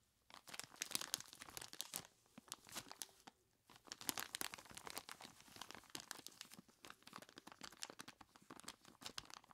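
Gloved hands with skeleton-claw gloves squeeze and rub a large clear plastic bag full of ice cubes, making a dense stream of bright crinkling and crunching crackles. The crackles come in busy bursts, with a quieter lull in the middle before the crunching picks up again.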